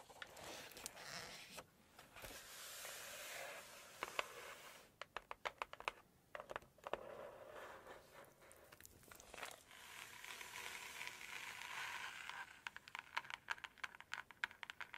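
Long red acrylic nails tap and scratch across the glossy cream pages of a large open hardcover cookbook printed with Chinese calligraphy, its red cover lying flat on a table, with pages turned between taps. Soft, bright crinkling and papery rustles alternate with bursts of quick, sharp clicking taps that die away instantly, with almost no low end.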